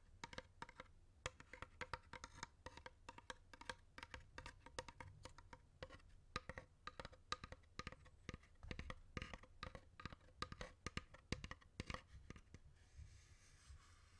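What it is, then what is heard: Wooden incense box. A long, hollow, dark-stained wooden incense box with a painted mandala decoration is held in both hands while fingertips and nails tap along its lid and side. The result is a steady run of quick, dry, hollow wooden taps that die away almost instantly over a low body resonance. Near the end the tapping stops and only a faint, airy rustle remains.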